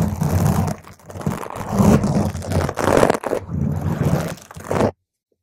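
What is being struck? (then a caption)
Foam microphone windscreen. A round purple foam microphone cover is scratched with long green nails on its sides and top. The result is a dense, crunchy scraping with heavy low-end rumble and swelling bursts that overlap without clear gaps, ending abruptly in silence.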